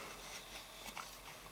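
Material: Nothing is struck.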